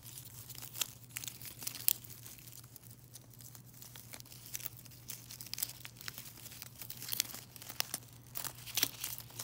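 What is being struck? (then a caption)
Foil-wrapped chocolate coins in a mesh bag. A mesh net bag of silver foil-wrapped chocolate coins is crinkled and scratched with nails. The result is a dense run of bright, crackly crinkling with quick sharp snaps throughout, over a faint steady low hum.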